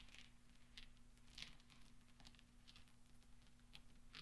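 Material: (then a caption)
Steel. Fingertips roll and push small solid steel pachinko balls together on velvet. Quiet, scattered bright metallic clicks and ticks, centered near 3.3 kHz, die away quickly over a steady low hum.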